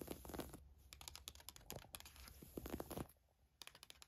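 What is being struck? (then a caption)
Woven fabric camisole top. Long nails quickly scratch and rub a navy floral woven fabric camisole top, making a rapid run of soft, crisp scratching strokes. The strokes carry a bright hiss over a low rumble and thin out toward the end.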